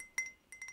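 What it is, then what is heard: Ceramic pottery mug. Light clinking taps on a handmade ceramic pottery mug, bought at a pottery workshop on holiday. Four short, bright taps ring briefly around 2 kHz with a faint high overtone, one early and three close together near the end.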